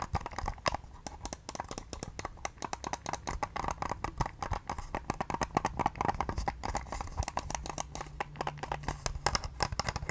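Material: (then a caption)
Plastic. A pale pink, hollow plastic wireless mouse is rapidly tapped and clicked with long nails. The result is a fast, continuous stream of short, dry clicks and taps with a hollow midrange body and no ring. A faint low hum appears in the background near the end.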